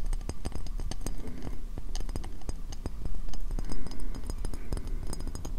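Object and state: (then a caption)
Ceramic bowl tapped and scratched. Fingernails tap and scratch quickly on the base rim of a medium, empty, hollow white ceramic bowl turned upside down over the microphone. The result is a dense stream of short, dull, hollow thumps centred low around 62 Hz, with faint bright clicks and scraping between them.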